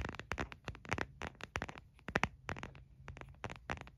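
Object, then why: Hard plastic phone case. Fingernails tap the back of a white printed hard plastic phone case, hollow with no phone inside, held in one hand. A quick, irregular run of sharp, dry clicks with bright tops and very short decay, over a faint low steady hum.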